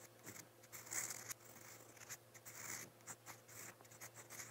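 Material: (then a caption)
Paper. A metal fountain-pen nib scratches strokes across a lined white notebook page as it writes letters in brown ink. The sound is a series of bright, dry scratches and short rubbing strokes, irregular and quiet, with a faint steady low hum underneath.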